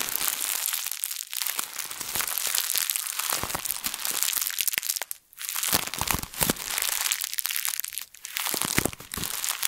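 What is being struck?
Thin plastic bag.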